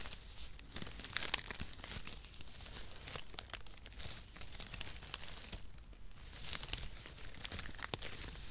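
Brown perforated cardboard packaging shreds are crumpled and rubbed between fingers, making a steady, dense crackling and crinkling rustle. Bright, sharp snaps and tearing-like crunches pop out of the papery hiss throughout, over a soft low rumble.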